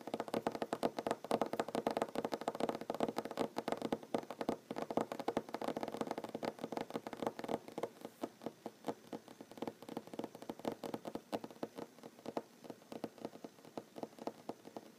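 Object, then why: Wooden tabletop. Short fingernails of both hands drum rapidly on a solid wooden tabletop, producing a quiet stream of dry, woody taps centered in the midrange with almost no ring. The tapping is dense and continuous for the first half, then thins into more spaced, distinct taps toward the end.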